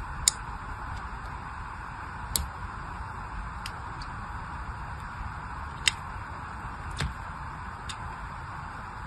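The tip of a small black craft blade scratches and scores thin lines into the surface of an unwrapped, palm-sized solid bar of pink soap with white stripes, held in one hand. A handful of sharp, bright, very short ticks and scrapes stand out over a steady soft hiss and low rumble, each dying away almost instantly.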